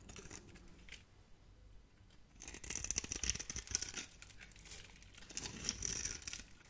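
A metal utility blade scrapes and carves crunchy little cubes off a solid, dry purple bar of soap with a foil-like surface, held in the hand. After a quieter first couple of seconds of light scraping, rapid, dense, dry crunching and crackling sets in, bright and hissy with brief high squeaks as the blade bites.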